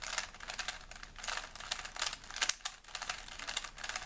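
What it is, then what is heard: Plastic puzzle cube being twisted. A small solid plastic 3x3 Rubik's cube is held in both hands while fingertips rapidly twist its layers. The result is a quick, dense run of bright plastic clicks and rubbing, with almost no low end.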